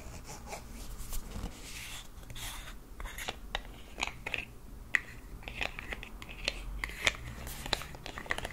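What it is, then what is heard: Plastic hand cream tube. A white plastic squeeze tube of olive hand cream with a black cap, about hand length and likely full, is held in both hands and tapped and scratched along its body with fingertips and nails. Quiet, dry clicks and scratchy crackles with a bright edge come in irregular bursts over a faint steady low rumble, each sound stopping almost instantly.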